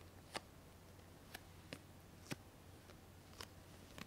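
A small, round, ribbed glass jar lid, solid and thin, is held up alone in both hands and tapped and clicked with long painted nails. Seven short, sharp, bright clicks come at uneven intervals, each dying away almost instantly. They sound quietly over a steady low hum.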